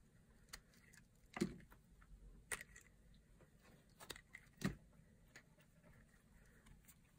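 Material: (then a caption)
Soap. A solid green bar of dry soap, held in the hand, is cut into cubes and slices with a blade. Quiet, short crunchy cuts and snaps come at irregular moments, with a few louder cracks that have a low thud and a bright crackle on top. The clicks die away almost instantly over a faint, steady background hiss.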